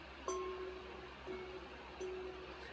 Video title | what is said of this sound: my opinions on buying a. 1st time sxs..what to look for...opinion... answering a viewers question. | like church bell sound